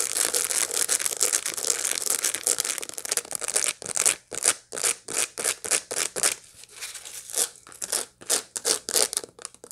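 Long light-blue nails scratch across the seeds of a dried sunflower head held up close. A dense, continuous, bright dry scratching fills the first few seconds, then breaks into a string of short, separate raspy strokes with brief silences between them.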